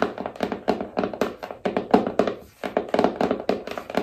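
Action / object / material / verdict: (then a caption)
tap / small cardboard phone box / cardboard / none. Long nails tap the surfaces of a small, hollow black cardboard iPhone box in a quick, uneven run of about 27 dry, hollow taps with a low-mid body near 234 Hz. Each tap dies away almost at once, with a brief pause near the middle of the clip.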